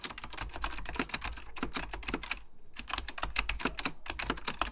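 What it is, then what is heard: Mechanical computer keyboard being typed on. Fingertips with short dark-painted nails type continuously in rapid key taps on an Apple Extended Keyboard II, a full-size keyboard with beige ABS plastic keycaps on a hollow plastic case with mechanical switches. Dense, bright clicky clacks with a low thump under each stroke run throughout, easing into a brief lull past the midpoint before the typing picks back up.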